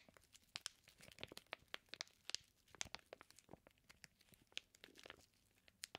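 A flat hand rubs and scratches with its fingertips over a flat package of raw bacon slices sealed in clear plastic. The plastic gives a quiet run of sharp, bright crinkles and scratchy ticks, fast and uneven, with almost no low end.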